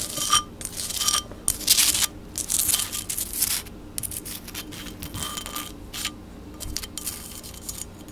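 Long black acrylic nails tap and scratch a medium black-and-white patterned ceramic vase holding fake flowers, held close to a microphone. Irregular bursts of bright, hissy scratching alternate with short ringing clicks, with high tones over a faint low hum.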